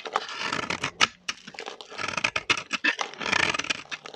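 A metal blade shaves curls off a solid orange bar of dry vintage soap held in the hand. Bright, dry scraping strokes come in quick bursts with crisp crackling clicks and almost no low end. Each stroke stops short with no ring, leaving brief quiet gaps between bursts.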